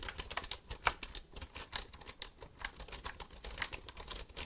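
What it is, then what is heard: Plastic computer keyboard. A black plastic computer keyboard is held upright while fingertips press and click its keys. A rapid, uneven run of short, dry, bright clicks follows, with a few sharper, louder clacks and a soft low thud beneath each press. The clicks die away almost at once, so each tap stays crisp and separate.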